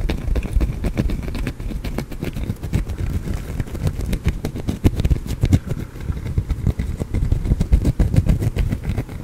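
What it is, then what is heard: Soap bar scratched with nails. A small, solid green soap bar held in the fingers is scratched with fingernails close to the microphone. The result is a dense, irregular run of short, dry scratches and clicks, heavy in the low end with quick bright ticks on top and almost no ring after each stroke.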